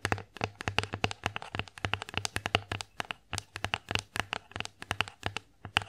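Fingernails tap and scratch across the surface of an empty wooden bear-face plate. About forty quick, dry taps land in a steady run, each a bright click over a soft low thump that dies away almost at once, with faint scratching between them.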